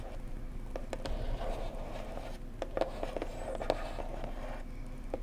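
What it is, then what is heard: Hollow cardboard gift box. A blue printed cardboard mug gift box, hollow and held at the sides, is tapped gently with long nails and fingertips. Soft, quick, clicky taps with a hollow mid-pitched tone repeat irregularly over a steady low background rumble.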